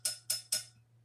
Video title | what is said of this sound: 🤫 I'M SPILLING MY SECRETS...GLAZING TIPS & TRICKS - How I Brush On Pottery Glaze!! All Skill Levels! | they all have a dull sound when there's a crack